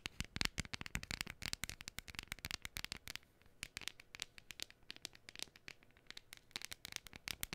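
Long fingernails scratch and tap a thin, flat, hand-sized printed cardstock gnome decoration close to the mic. Quick, dry, bright clicks and scratches come in dense, uneven bursts with a brief, quieter stretch in the middle. Each sharp tick stops almost instantly, and the overall level stays soft.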